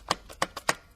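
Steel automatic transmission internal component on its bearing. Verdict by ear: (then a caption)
Seated. A component is wiggled inside the case of an RE5R05A automatic transmission until it drops onto its bearing, producing four short, sharp knocks with a bright tone and almost no ring. The final thump means the component is fully seated.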